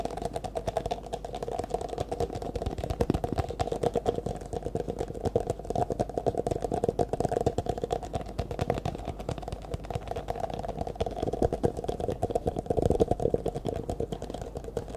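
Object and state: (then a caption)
Clear plastic cup. Fingertips and nails rapidly tap and scratch the sides of an empty, hollow, disposable clear plastic cup held in both hands. The result is a steady, dense stream of quick, short-decaying clicks and scratches with a hollow mid-range resonance near 460 Hz. It continues at a fairly even level throughout.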